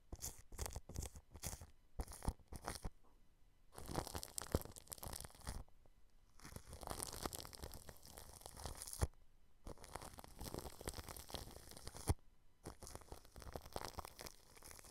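A paintbrush brushes clear cling film wrapped over a microphone grille, making crinkly, rustling strokes. It starts with short, quick dabs, then settles into longer continuous sweeps separated by brief pauses. The crackle is broadband with a low rumble underneath.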